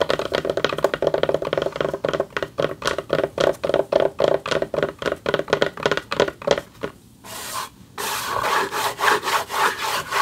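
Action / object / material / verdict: scrape / textured plaque back scratched with fingernails / unknown / none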